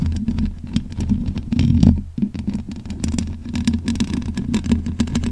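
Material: Metal mesh.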